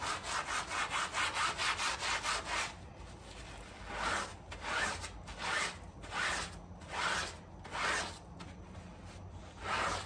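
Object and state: Soapy fabric doormat being scrubbed.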